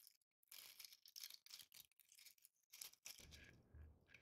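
A hand-sized green Christmas ball ornament covered in coarse glitter or tinsel flakes is held and scratched with long painted nails. Quiet, bright, crackly scratching comes in quick rustling bursts, mostly high-pitched, with short pauses between strokes.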